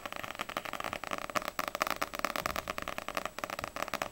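Long grey-painted nails tap quickly on the glossy paper front cover of a small, solid paperback manga, Ousama Game volume 1, held upright in both hands. The result is a rapid run of crisp, dry clicks centered in the midrange, with little low end and almost no ring after each tap.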